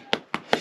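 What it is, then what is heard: Hollow lime plaster on stone wall. Three knocks on a lime plaster render over a stone wall give short, hollow, dry taps with a mid-range body around 430 Hz and some bright click, each dying away almost at once. The plaster here is loose and hollow-sounding, so it is to be chipped off and replastered.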